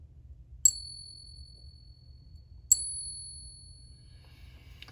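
An authentic 1900 Philadelphia-minted Morgan silver dollar of 90% silver, taken from a tube of real Morgans, is given a ping test as a reference ring. Two separate pings each produce a bright, high metallic ring with sustained tones that fade slowly. This is the normal ring of a genuine silver Morgan.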